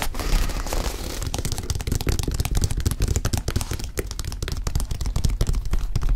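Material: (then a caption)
Leather. A single white leather high-top sneaker, hollow and empty, is held up while fingertips tap and scratch its leather upper and heel. The result is a dense run of quick, dull, low-heavy thumps mixed with brief crackly scratching, each tap dying away almost at once.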